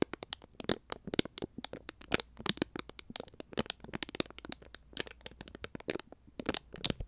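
A small, full plastic konjac jelly cup, sold as a pouch, is crinkled and crackled with fingers and nails close to the microphone. A rapid, irregular series of sharp, bright crackles and clicks with almost no ring follows, over a faint low hum.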